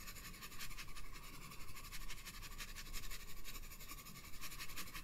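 A hand with red nails shades the bulb of a drawing on a paper sketchbook page resting on a table, using a green wooden graphite pencil. Quiet, steady scratching strokes rasp across the paper in a bright, papery hiss over a faint low rumble, rising and falling slightly without clear breaks.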